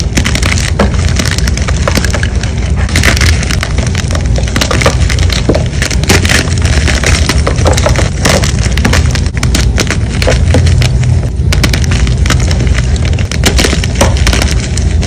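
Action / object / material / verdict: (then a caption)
scrape / gym chalk block / chalk / none. Solid white gym chalk blocks and pieces are crushed in the palm and crumbled by fingers with long blue nails, with powder dusting down. A steady, dense stream of quick crunching and gritty crackles continues for about fifteen seconds, weighted toward low, thuddy tones with brief brighter snaps.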